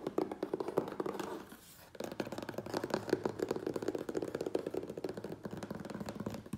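Fingernails tap and scratch the top edge and taped seam of a medium, closed, hollow corrugated cardboard Priority Mail box. The taps come fast and dry with a papery, hollow body, and they pause briefly near the two-second mark before resuming in a dense, steady run.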